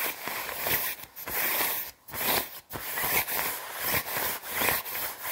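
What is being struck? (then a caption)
Quilted nylon down jacket. Long red nails scratch fast across the sleeve and chest of a white quilted nylon down jacket and work around its plastic zipper. The result is a bright, papery scratching rustle that comes in rapid bursts with brief silent gaps between strokes.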